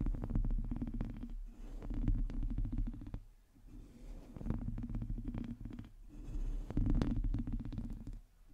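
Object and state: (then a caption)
Metal mesh microphone grille being scratched. Long teal nails on both hands scratch the top and sides of the hollow domed metal mesh grille of a black microphone. Dense, rapid scratching strokes come through as a low, rumbling, boomy texture with a steady hum underneath. The sound builds in bursts and drops away in brief lulls.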